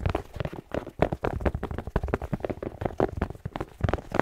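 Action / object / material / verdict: tap / fabric slipper with rubber sole / rubber / none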